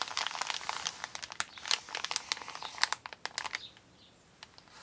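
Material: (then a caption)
Paper. A large, flat, empty brown recycled kraft-paper Amazon mailer bag lying on a wooden table is pressed, rubbed, scratched and crinkled with the fingertips and painted nails of both hands. The result is a dense run of bright, crisp crinkles and sharp scratchy crackles with no low end. The activity settles after about three and a half seconds into near quiet with a few faint rustles.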